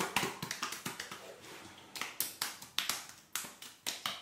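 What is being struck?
Soaked denim overalls.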